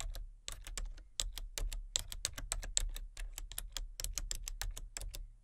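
Long fingernails tap the keys of a full-size, hollow-bodied plastic computer keyboard with color-changing backlit keys, one hand on the letter keys and the other on the number pad. About thirty quick, dry clicks sound in an uneven rhythm, each bright and short with almost no ring, over a low steady hum.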